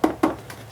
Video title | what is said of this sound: Home and lighting.. Solar LED outdoor lights Unboxing and review (sponsor) | sounds like glass too on the top here